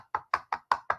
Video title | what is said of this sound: Different Types of Stamps-Back to the Basics | Hear that loud noise? That is because this is a felt pad. It's not a foam pad like our classic inks are.